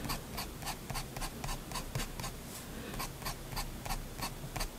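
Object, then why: Steel pen nib scratching a paper sheet. A steel fountain pen nib scratches lettering and fine lines across a flat white sheet of drawing paper. About fourteen short, bright, scratchy strokes come at an uneven pace over a steady low rumble, each ending almost at once.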